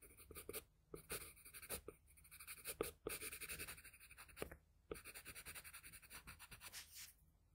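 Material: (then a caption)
Paper. The graphite tip of a wooden pencil scratches across a flat sheet of drawing paper in shading strokes. A quiet, bright, papery scratching comes in a rapid string of short back-and-forth strokes with brief pauses between bursts.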